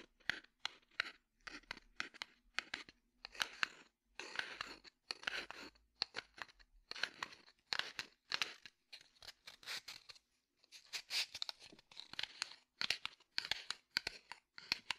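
A small cardboard matchbox held in the hand, with fingernails scratching and tapping on its striker side and body. Many quick, dry, bright taps and short scratchy bursts come in irregular clusters with brief pauses. The sound is crisp and close, with no low end.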